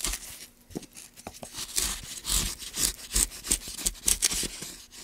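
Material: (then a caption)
Pine wood. Gloved hands carve a gouge in strokes along the channel of a solid, light pine block. Each stroke gives a bright, dry scraping hiss with a faint low knock at its start. The strokes come in uneven, repeated bursts.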